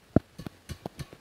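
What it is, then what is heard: Dull-sounding badminton racket strings. Strings on a cheap knock-off badminton racket, strung tighter than a Carbonex racket, are struck in a quick series of separate taps. Each tap is a short, dull, low thud that dies almost instantly, with no bright ring. The strings fail to ring out, a dullness put down to the string type, the frame and the brand.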